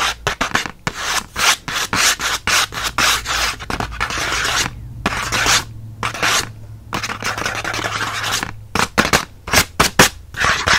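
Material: Cardboard.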